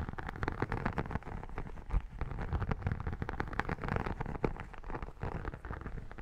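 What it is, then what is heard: Textured vinyl photo album cover. Long nails and fingertips scratch the embossed cover and spine of an iridescent textured vinyl photo album held close. The result is a dense, crackly run of rapid scratches and taps with a heavy low-end body and little high sparkle, continuing steadily throughout.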